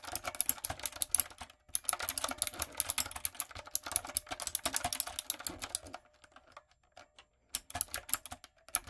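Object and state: Plastic mechanical keyboard being typed on.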